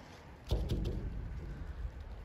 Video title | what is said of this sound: Trains from before WW2 - Raiders of the lost ark (urbex Belgium) | i don't like the sound of that because it's hollow